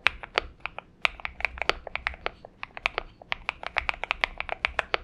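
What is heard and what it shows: A purple Xinmeng M71 70% mechanical keyboard with PBT keycaps, lubed switches and a tape-modded case rests on a desk mat and is typed on steadily with the fingertips of both hands. About thirty short, crisp clacks follow in an uneven rhythm, each dying away almost instantly. The tone is bright and clicky with a high-mid ring and very little low thump.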